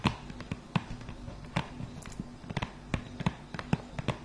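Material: Cardboard.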